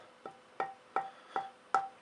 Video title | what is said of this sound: Luthier Wood Review: Purpleheart dense hardwood beautiful color hard to work with tonewood | You can work it through the piece, you can hear the dink.